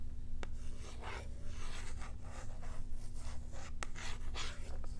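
Long nails rub and scratch a small, hollow cardboard-and-plastic blister pack holding a cat toy, held close. Repeated scratchy, crinkly strokes come in bright bursts, with a couple of sharp ticks, over a steady low hum.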